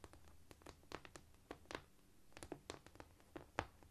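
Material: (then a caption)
Cork. Quiet tapping and scratching on a cork floor, with a quick, uneven run of soft, dull taps that die away almost at once. A faint low hum sits underneath, and a light scurrying scratch fills the gaps between taps.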